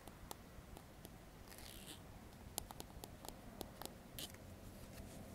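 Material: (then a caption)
Plastic. A solid, dark plastic comb with fine teeth is held and pressed on a wooden table while fingertips strum and flick its teeth. The result is a quiet series of short, sharp clicks and ticks with a few brief, bright, raspy strums over a low, steady background rumble. Each click dies away almost instantly.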